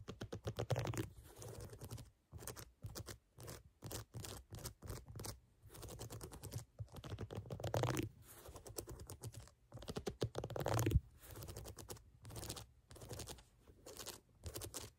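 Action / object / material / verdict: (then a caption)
scrape / rubber sneaker outsole / rubber / none. Long nails scratch and tap along the ridges of a brown, ridged rubber outsole edge on a sneaker. Rapid, dry clicking and scratchy bursts come in quick runs with short gaps between them. The sound is soft, low-heavy and dull, with no ring after each tap.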